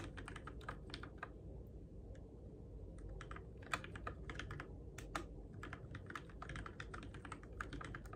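Fingertips type steadily on a Keychron K6 compact RGB-backlit mechanical keyboard with plastic keycaps on switches, in the dark. A continuous run of quick, short, bright plastic clicks sits over a steady low rumble, with a few keystrokes landing louder than the rest.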